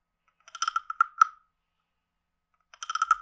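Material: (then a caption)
Wood. A wooden stick scrapes the ridged back of a palm-sized, hollow, carved reddish-brown wooden frog guiro and taps near its mouth. It makes two bursts of quick, dry, clicky croaks with a hollow woody tone centred around 1.3 kHz and bright overtones. Each click dies away almost instantly, with silence between the bursts.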